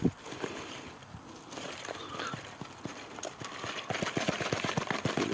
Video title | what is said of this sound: Luffa Garden 2016 | It's ready to be peeled. The sound of it sounds hollow.